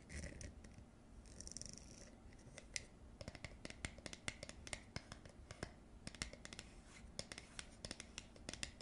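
Long acrylic nails scratch and tap a round, hollow blue plastic screw lid with a ribbed edge and a white liner inside, working over the ribbed rim and the inner face. The result is a quiet stream of soft scratching broken by many sharp, bright clicks that die away almost instantly, over a faint low rumble.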